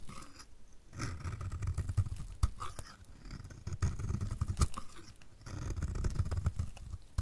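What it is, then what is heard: Dry soap bar scraped with a blade. A solid orange striped bar of dry soap, held in the hand, is repeatedly scraped with a utility knife blade. The sound is a dense, gritty, low-heavy scraping in three long passes, dotted with sharp crisp clicks and ticks as the blade shaves the soap.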